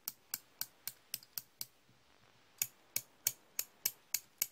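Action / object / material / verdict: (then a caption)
tap / steel slip-joint pliers / steel / none. Solid steel slip-joint pliers are held in the hand and their jaws are opened and closed, so the pivot clicks and the jaws clack. Fourteen short, bright clicks come in two runs of about seven, separated by a brief pause. Each click dies away almost at once, with hardly any low end.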